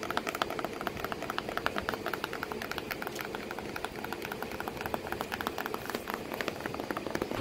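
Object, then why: Corrugated cardboard box flap. Long nails tap and scratch at a creased flap of a corrugated cardboard box with a cat sitting inside. Rapid, dry, papery clicks with short bright ticks ride over a steady soft crackling scratch, each tap dying almost at once.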